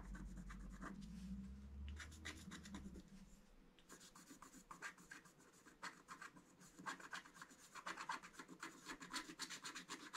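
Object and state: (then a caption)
Scratch-art paper scratched with a stylus. A thin wooden stylus scratches lines into the black coating of a flat scratch-art card, a mandala book page lying on a table and held down by one hand. Quick, dry scraping strokes follow one another in an uneven rhythm, with bright, gritty texture. A low rumble underlies the first few seconds before the strokes grow louder and denser.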